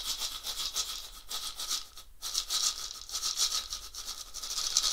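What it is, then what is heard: Gourd shaker rattle. A round, hollow, filled dried gourd rattle with a wooden handle is shaken by hand near the lap. It gives bright, rapid, rhythmic swishing rattles with almost no low end and a brief pause around the two-second mark.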